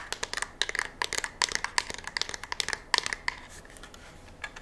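A curved black polymer rifle magazine is turned in the hands and scratched with long nails along its ribs and edges. The result is a rapid run of crisp, bright scratching clicks and rasps with a faint ringing tone near 1 kHz. The sound has almost no low end and fades to quieter rubbing near the end.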